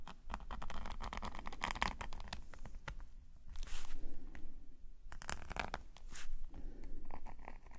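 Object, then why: Metal pen nib on sketchbook paper. A metal nib pen scratches fine strokes across a black paper sketchbook page lying flat. Quick, dry scratches and short bright flicks come in dense runs, with a steady low hum underneath throughout.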